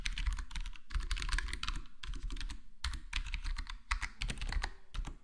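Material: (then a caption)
Plastic. A black plastic full-size HyperX Alloy Core gaming keyboard with square plastic keycaps and a foam-modded, foam-dampened case is typed on by the fingertips of both hands. The result is a steady, uneven patter of soft, short keystrokes with a deep low thump under brighter clicks and brief pauses between bursts.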